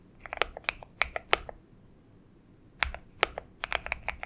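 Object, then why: Mechanical keyboard with plastic PBT keycaps. Fingertips of both hands type on a purple Xinmeng M71 mechanical keyboard with PBT keycaps. About fifteen short, bright clacks come in two quick bursts, separated by a pause of roughly a second. Each keystroke ends almost instantly, with little low end.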